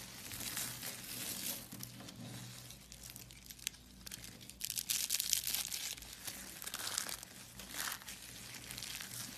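Fingers with long nails pull apart and crush the layers of a large spiral of thin blue-pink solid soap shavings. The result is a soft, dry, bright crinkling and crackling, with a denser burst of crunchy crackles in the middle of the clip.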